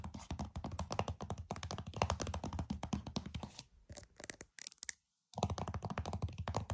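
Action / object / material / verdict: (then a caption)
tap / plastic game case / plastic / none. Several long fingernails tap rapidly across the back of a flat, hollow plastic PS5 game case, making a dense run of short, dull, hollow clicks with a low thump. The tapping thins into a few scattered bright clicks, falls silent briefly, then resumes at a quick pace.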